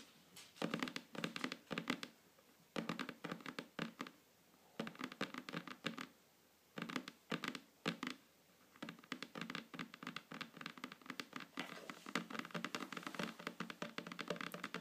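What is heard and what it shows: Long natural fingernails of both hands tap and scratch a solid, flat wooden table surface in quick, clicky bursts. Short pauses separate the first few flurries, and the last one runs continuously to the end. Each tap gives a crisp, bright click over a soft, low wooden knock that dies away almost instantly.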